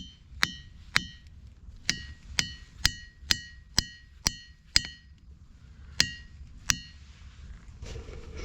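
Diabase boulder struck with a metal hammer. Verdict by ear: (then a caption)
Ringing. A hammer strikes a diabase boulder, the one beside a duller rock, eleven times. Each strike gives a sharp, high metallic clang with bell-like overtones. The volcanic rock rings like metal.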